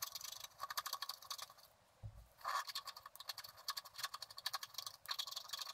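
A wooden stylus scratches the coated surface of a flat scratch-art card of black wax-coated paper, revealing the colors beneath. Dense, dry, bright scraping strokes run in quick rhythmic bursts, broken by a brief pause and a soft low thump near the middle before the scratching resumes.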